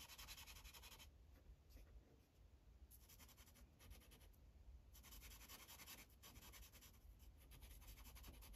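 A light-blue Sharpie felt tip is rubbed back and forth across a thin white coloring page resting on a plastic clipboard. Bursts of bright, dry scratching strokes alternate with quieter pauses over a steady low rumble.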